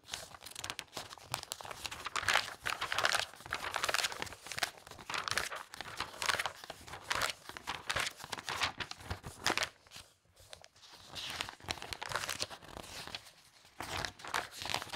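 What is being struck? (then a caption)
Thin glossy paper catalog pages. Fingertips with long red nails quickly riffle and turn the thin glossy pages of a thick open toy catalog lying on a fabric tablecloth. The result is a steady run of crisp, bright paper crinkling and flapping with almost no low end, broken by short quieter gaps around the tenth and thirteenth seconds.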